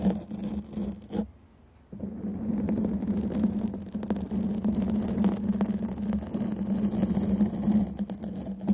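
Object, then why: Foam microphone windscreen. Long painted nails scratch the sides of a black foam microphone windscreen, making a dense, continuous scratchy rustle over a steady low hum. The scratching pauses briefly near the start, then resumes and carries on unevenly to the end.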